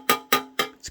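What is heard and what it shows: A carbon fiber sheet used as the back of a razor blade painting's frame is tapped, giving three sharp, bright taps followed by two softer ones. Each tap has a short, metallic-sounding ring centered near 1.2 kHz. This ringing is the expected, normal sound of the material.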